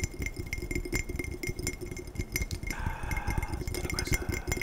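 A glass tumbler is tapped quickly and aggressively in a rapid run of sharp, glassy clinks, each with a short bright ring near 2 kHz that dies away almost at once. A dense, low, rattling thump sits under the taps throughout.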